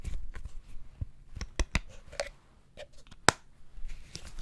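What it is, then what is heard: Sauce bottle with plastic lid. Fingers tap the red plastic lid of a full sauce bottle of dark liquid held in the other hand. Several short, dry clicks stand out with no ring, over soft low rustling and handling noise.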